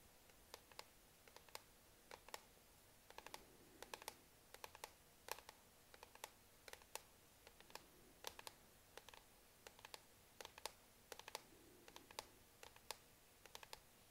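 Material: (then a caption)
Plastic. Long nails tap and click on the dark plastic palm rest of a laptop, a hollow shell just to the right of the touchpad. Dozens of quiet, sharp, bright clicks come at an irregular pace, each one dry and cut off almost instantly with no ring.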